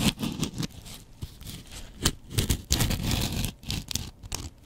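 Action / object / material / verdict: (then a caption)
scrape / foam kitchen sponge and razor blade / foam / none. A double-edged razor blade scratches across the face of a yellow porous foam kitchen sponge. The result is a series of irregular, rapid scraping bursts: crisp, bright scratchy hiss over a soft, muffled low rustle, with each stroke stopping abruptly.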